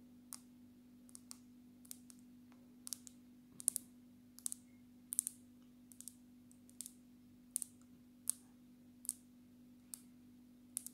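Long natural nails tap the glass surface of a black glass-backed smartphone, held sideways and then upright. A steady series of short, sharp, bright clicks dies away almost instantly, heard quietly over a faint constant low hum.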